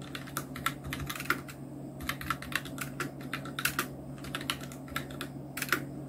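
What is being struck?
Plastic mechanical keyboard.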